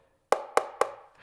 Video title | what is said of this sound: M-Audio M-Track Solo and Duo Review - BEST audio interface under $50! | todo o corpo parece um pouco plástico e parece oco quando você bate nele.